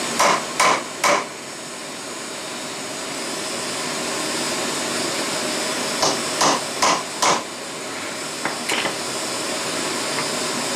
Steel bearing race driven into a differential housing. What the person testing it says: that felt solid that felt solid that sounds solid